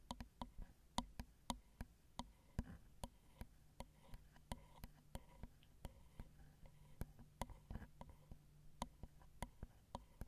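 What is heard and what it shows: Long acrylic nail tips tap the small, hollow, crossed metal X/Y microphone capsules of a Zoom recorder, giving a quiet string of crisp, short clicks with a low, hollow body. The strip shows about 23 separate taps, each decaying almost instantly over a faint low hum.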